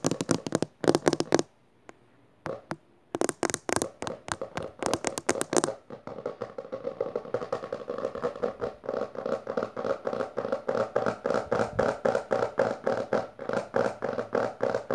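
Fingertips and long nails of one hand, then both hands, rapidly tap and scratch the textured maroon cover of a closed hardcover book resting on purple fabric. Bursts of sharp, dry taps with brief pauses give way after about six seconds to a steady, fast stream of tapping and scratching. The sound centers in the midrange and dies away almost instantly after each hit.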